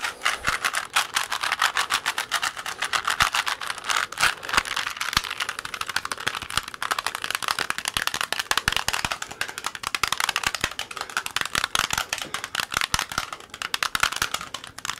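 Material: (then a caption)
Plastic. A small solid plastic Rubik's cube with colored stickers is held in both hands close to a microphone while fingertips rapidly twist its layers. The result is a fast, continuous stream of crisp, bright plastic clicks and rattles with almost no low end, each click dying away almost instantly.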